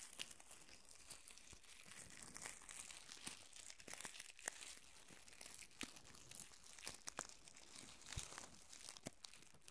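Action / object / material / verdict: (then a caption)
scrape / plastic curling ribbon / plastic / none. A small tangle of pink plastic curling ribbon held in both hands, with the strands rubbed and crinkled by fingertips and nails. Quiet, bright crinkling and scratchy rustling run throughout, broken by many sharp little clicks and snaps.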